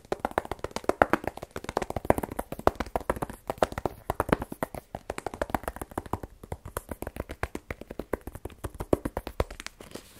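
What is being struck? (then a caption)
Rigid cardboard phone box. A small black rigid cardboard iPhone 12 Pro box, hollow with the phone inside, is tapped with fingernails on its face and side. Rapid, steady streams of dry, clicky taps with a hollow midrange knock sit around 630 Hz, and each tap dies away almost instantly.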